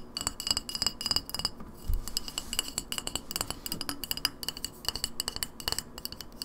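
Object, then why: Glass bottle. An empty clear glass lemonade bottle with a paper label is held on its side and tapped quickly with long nails on its glass base, shoulder and label. The result is a rapid, uneven stream of short, sharp clicks with bright, high glassy tones that die away almost instantly.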